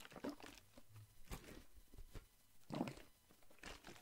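A Listerine plastic mouthwash bottle with green liquid is held in one hand, shaken and squeezed while fingers tap the plastic. Quiet, crinkly crunches and short dull taps come in uneven bursts, with the plastic crackling over a soft low body and little high-end sparkle.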